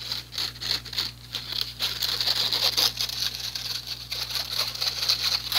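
Fingernails scratch the fine mesh of a small, empty, teal plastic-framed strainer. The result is a quick, irregular run of bright, rasping scratches that is mostly high-frequency hiss, with a faint steady low hum underneath.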